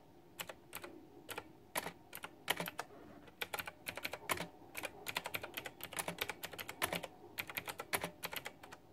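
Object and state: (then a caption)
Plastic mechanical keyboard. Fingertips and long nails type quickly on a white, backlit, retro plastic mechanical keyboard with round typewriter-style plastic keycaps. Bright, crisp clicks come in fast, uneven bursts over a quiet background. Each tap dies away almost at once, with little low-end weight.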